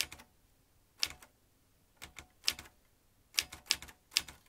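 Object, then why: Manual typewriter with metal typebars. A vintage metal manual typewriter, with metal typebars and a ribbon spool, is typed with the fingertips. About a dozen sharp, bright clacks come in small clusters separated by short pauses. Each strike is quick and dry with almost no low end.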